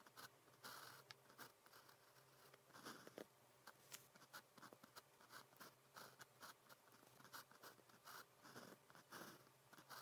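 A blue plastic ballpoint pen with a metal tip writes characters on thin practice paper printed with a red calligraphy grid. Quiet, dry scratching strokes come in short, bright bursts with tiny pauses between them, over a faint steady low hum.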